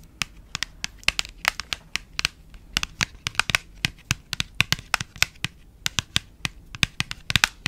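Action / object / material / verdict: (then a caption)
tap / small printed paperboard box / paperboard / none. A small cream printed paperboard box is held close to the mic while long nails tap and scratch its flat faces. About 36 sharp, dry clicks come in quick irregular bursts, each bright and papery with almost no ring. Faint scratchy rustling fills the gaps between taps.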